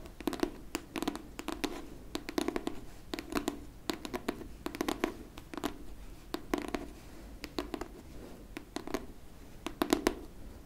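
Long nails scratch and tap on the cardboard-and-paper cover of a pink hardcover book held flat. Quick, dry clicks come in uneven bursts over soft scratching, with a dull body around 300 Hz and bright clicky edges. Each tap dies away almost at once.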